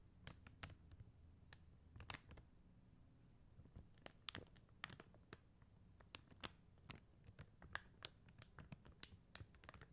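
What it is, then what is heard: Acrylic rhinestone sticker sheet. Long teal acrylic nails tap and click on a flat sheet of clear and blue faceted plastic gem stickers on white paper backing. About two dozen quiet, sharp, bright clicks land at an irregular pace over a low, soft rustling bed. Each click dies away almost instantly.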